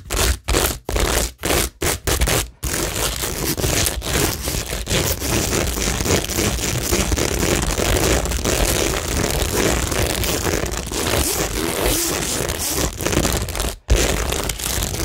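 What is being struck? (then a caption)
Cork board with plastic rhinestones and pearls. Long nails scratch across a cork tingle board studded with plastic rhinestones and pearls, starting with about six short, separate scrapes. The sound then settles into a steady, dense scratching with a broad, gritty crackle and a low rumble underneath, which pauses briefly near the end before resuming.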